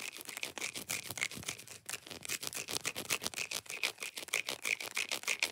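Long nails scratch quickly across the raised squares of a large, solid segmented chocolate bar held in the hand. The result is a fast, uneven run of short, bright, dry scratching strokes, about three per second, with a faint high whistle-like tone running through them. There is almost no low end.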